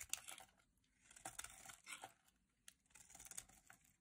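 A solid rectangular green dry soap bar, held in the hand, is carved with a metal utility knife blade into shavings until only a thin strip remains. The result is quiet, crisp, bright scraping and crackling in short bursts, with brief pauses between strokes and almost no low end.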